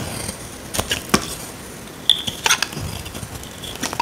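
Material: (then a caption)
Soap. A small metal blade scrapes a solid, dry, rectangular tan soap bar held in the hand, peeling off flakes. The result is a series of short, dry, crisp scraping and crackling strokes with bright, high content, a brief tonal squeak near 3.5 kHz, and little low end. Each stroke dies away almost immediately.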